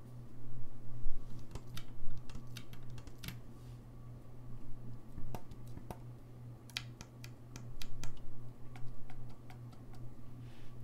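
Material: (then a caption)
Brass. Fingertips tap and click the keys and pads of a hollow, gold-lacquered brass saxophone, producing a scattered series of short, sharp, bright clicks with soft muffled thumps. The clicks come in irregular clusters over a steady low hum, each dying away almost instantly.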